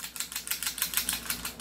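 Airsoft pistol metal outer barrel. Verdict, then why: Loose. A finger rests on the metal outer barrel of a John Wick Sand Viper airsoft pistol and shakes it, producing a rapid, bright metallic rattle of about ten quick clicks. The outer barrel wobbles strongly because it is not fixed.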